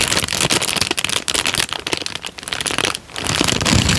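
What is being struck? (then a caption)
Thin paper sheet. A thin, folded, light-brown paper sheet is squeezed and crinkled by fingertips close to the microphone. The result is a dense, bright crackling of rapid overlapping crinkles that runs almost continuously, softening briefly near the three-second mark before swelling again.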